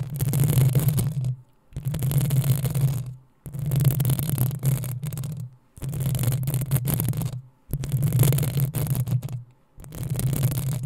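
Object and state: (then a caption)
Metal microphone grille being scratched. Long painted acrylic nails of both hands scratch and rub the hollow, rounded metal mesh grille of a black USB condenser microphone on a stand. Six bursts of dense scratching, separated by brief pauses, produce a deep, boomy rumble centred low with a faint bright crackle on top.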